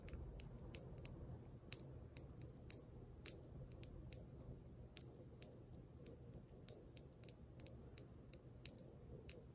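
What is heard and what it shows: A small gold brass jingle bell hanging from a red plaid ribbon is held by the ribbon and shaken with the fingers. It gives about two dozen quiet, short, bright jingles high, each fading almost at once, over a soft low rumble.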